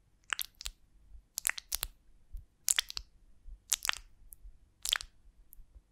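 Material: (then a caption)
Beeswax. Long nails scratch and tap the wax cell surface of a large golden beeswax honeycomb on a twig, held in both hands. Short, bright, crisp crackles and taps come in irregular clusters, each dying away almost instantly, over a quiet background.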